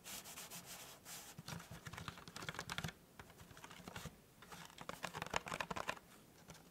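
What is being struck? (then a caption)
Small cardboard gift box. Fingertips and nails tap and scratch the top and edges of a small, hollow, white printed cardboard tea gift box with a folded petal-style top. The result is a quick run of dry, papery taps mixed with soft rubbing scratches. The hits are short and bright over a faint low hum.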